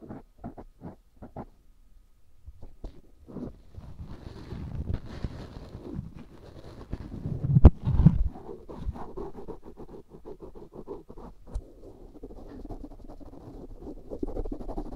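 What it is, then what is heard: Silicone ear microphone. A black cotton swab scratches and rubs in and around the canal of a life-size white silicone ear, a solid, soft, rubbery binaural microphone. A few soft, separate ticks open the clip, then a dense, low, muffled scraping and rubbing builds, with a heavy thump near the middle. Close, crackly scratching continues to the end.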